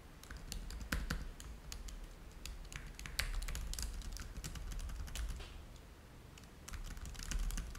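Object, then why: Plastic laptop keyboard. Both hands type rapid fingertip taps on the plastic chiclet keys of a black laptop keyboard deck, while a game controller at the top edge sits untouched. The keys give a steady stream of short, bright clicks that die out almost at once over a low, constant hum.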